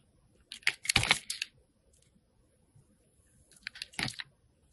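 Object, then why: Bar of soap cut with a metal blade. A metal box cutter blade shaves and cuts the edges of a hand-sized, solid white rectangular soap bar held in the hand. Two bursts of crisp, bright scraping and crackling slices are heard, the first around one second and the second near four seconds, separated by near silence.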